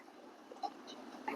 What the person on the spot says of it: ഇങ്ങനെ മുട്ടുമ്പോൾ തന്നെ ഞങ്ങൾക്ക് പൊട്ടിയിട്ടുണ്ടെങ്കിൽ വേഗം അറിയാൻ പറ്റും